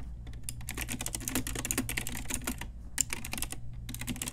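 Long nails and fingertips type steadily on a pink Ajazz retro typewriter-style mechanical keyboard with round plastic keycaps. The result is a rapid, continuous run of sharp, bright plastic clicks and clacks with almost no ring, over a steady low hum.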